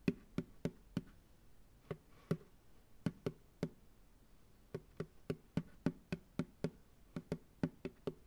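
An empty white plastic ice cream pail, turned upside down on a lap, is tapped on its hollow bottom with a fingertip. Twenty-two short, dry, hollow knocks come at an uneven pace with a few brief pauses between groups. Each knock has a low, boxy body around 190 Hz and dies away almost instantly.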